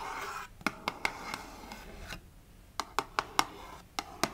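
Long nails scratch and then tap on the printed front panel of a small, closed cardboard Fitbit Versa 3 box held in the hand. A soft papery scratching opens the clip, followed by a run of short, dry, sharp clicks with almost no ring, set against a quiet hiss.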